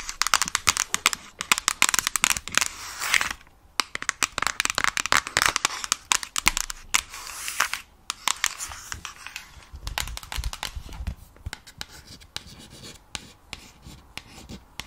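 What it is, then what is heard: Plastic game console back. Long nails tap and scratch the black plastic back panel of a Nintendo Switch console with Joy-Cons attached. Dense, bright, crinkly clicks and scratches fill the first half, then thin out into sparser, quieter taps.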